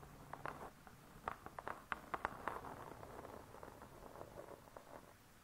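Long nails tap and scratch the laminated board cover of a closed spiral-bound hardcover cookbook. About fifteen quiet, short, dry taps with a mid-range click near 1.1 kHz are scattered over a soft continuous scratching, with no ring after each tap.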